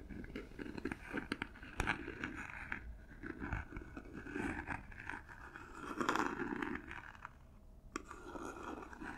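Long nails scratch and tap the textured surface of a small hollow cardboard gift box covered in silver paper, held close to the microphones. The result is a quiet, continuous run of dry, papery scraping and crunching, broken by crisp, sharp taps that stand out now and then.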